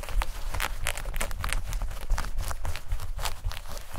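Long nails scratch quickly over light-blue denim shorts, across the fabric and the pocket area. The result is a steady run of rough, bright scraping strokes over a constant low rumble.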